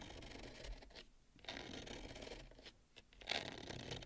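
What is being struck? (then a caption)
Bamboo serving plate. Long nails scratch and tap the rim of a wide, shallow bamboo serving plate holding roasted pumpkin seeds. Soft, dry, bright scratching comes in bursts with short quiet gaps, and light taps give a brief sharp peak near the end.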